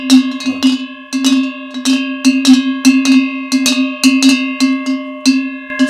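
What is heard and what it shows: A metal redon sheep bell, used mainly during transhumance and nicknamed "the big drum," is shaken in irregular clanks. It gives a deep tone around 250 Hz with bright ringing overtones. Its sound tells the flock to move forward.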